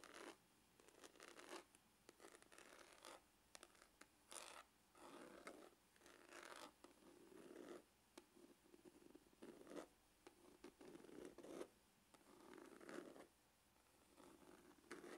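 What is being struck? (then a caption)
Faux leather hard glasses case. Short-to-medium fingernails scratch the textured lid of a hollow, dark brown, grained faux-leather hard glasses case. The result is quiet, dry, raspy scratching in repeated bursts with brief pauses between them, centred in the midrange and carrying a faint hollow tone.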